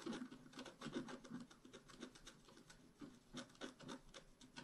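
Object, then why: Coated scratch art paper scraped with a wooden stylus. A wooden stylus makes dense, short scratches on the blossoms of a flat, black-coated scratch art card about A4 in size. It produces a quick run of dry, rasping strokes with a low papery body around 250 Hz and a bright hiss. Each stroke dies away almost at once.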